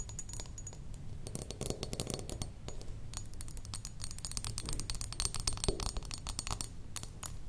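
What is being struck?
Glass perfume bottle.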